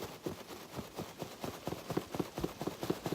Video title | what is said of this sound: Bubble Wrap Basics: Sourcing, Proper Use, and Should Bubbles Face in or Out? | you will not hear this moving around